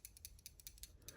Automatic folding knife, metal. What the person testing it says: when it's unlocked, it's that same rattle